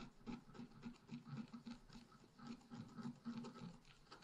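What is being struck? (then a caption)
Black-coated scratch art paper sheet scratched with a wooden stylus. A thin black-coated scratch art paper sheet lying flat is scratched with a wooden stylus, first at the bottom and then in the tree crown. Quiet, irregular scratching strokes repeat at about three to four per second, with a dry, grainy rasp centred low around 240 Hz.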